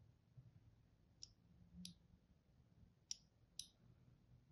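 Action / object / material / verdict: scrape / bar of soap scored with a thin blade / soap / none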